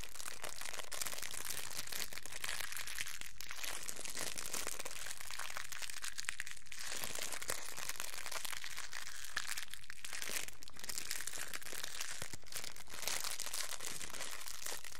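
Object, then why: Thin clear plastic cellophane wrapper. A small, thin, clear plastic cellophane wrapper is held between both hands, crinkled, rubbed with the fingertips and pulled taut. The result is a continuous, dense crinkling and crackling with bright, papery texture at a steady level throughout.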